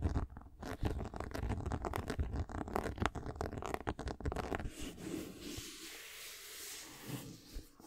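A white and black-gold patent leather high-top sneaker is held in hand while long nails scratch and tap its upper and swoosh panel. About five seconds of quick, irregular, low-heavy tapping and scratching give way to a soft, even hissing rub that fades near the end.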